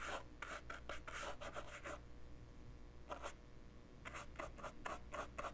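A paintbrush's bristles and ferrule scratch and rub back and forth across the surface of a small, handheld, dark plastic portable cassette player with a hollow body. Bursts of dry, bright rasping strokes come in quick runs, with a quieter pause in the middle, over a steady low hum.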